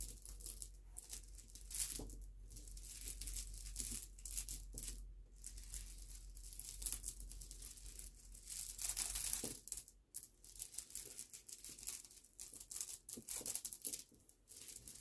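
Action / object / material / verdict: scrape / pile of small smooth stone pebbles / stone / none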